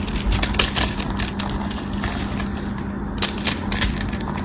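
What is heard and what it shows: A metal craft knife carves and scrapes a cream-colored solid soap bar held in the hand into small cubes, with other soap bars nearby. Dense, bright crackling and crisp scraping come in quick bursts of short clicky cuts over a steady low hum.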